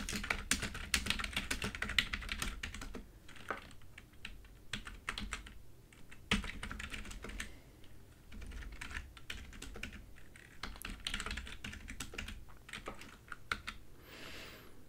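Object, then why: Plastic computer keyboard. Both hands type continuously on a full-size plastic computer keyboard with large yellow keys, using long nails and fingertips. Rapid, dense tapping and clicking carries bright key clacks over soft low thumps. The keystrokes die away almost instantly, and the typing runs in quicker and quieter stretches throughout.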